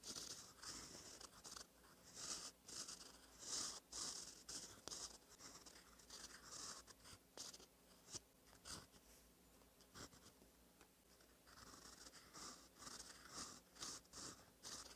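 A gold metal fountain pen nib, held by fingertips, scratches over a thin cream lined notebook page while writing cursive. Quiet, bright, papery scratching comes in irregular short strokes and bursts, with brief pauses between words.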